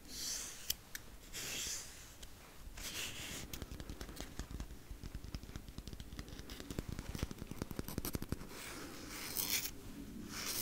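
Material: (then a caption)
Paper. Fingertips with medium-length nails tap and scratch the outer surface of a wide roll of white paper masking tape with a hollow cardboard core, held close to the mic. Quiet, dry scratching swells in bright hissy bursts, then gives way to a dense run of quick, crisp taps with soft low thumps. The clip ends with more scratching.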